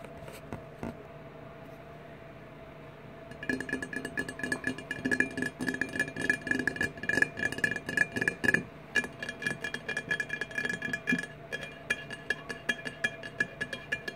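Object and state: Empty glass bottle.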